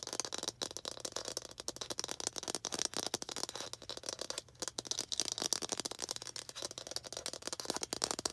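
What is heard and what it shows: A small hollow red plastic toy ball with baseball-style stitching is held in both hands and tapped and scratched with long green acrylic nails. The result is a rapid, steady stream of dry, bright clicks and scratchy rattling with almost no low end and no ring after each tap.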